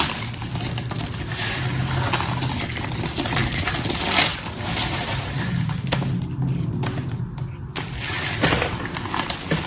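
Two hands with painted nails press, crush and rub a pile of small blue and pink cut soap pieces on a patterned surface with fingertips and palms. The result is a steady, dense crackling crunch with bright, clicky grains over a soft low rumble, swelling slightly as the pile is squeezed harder.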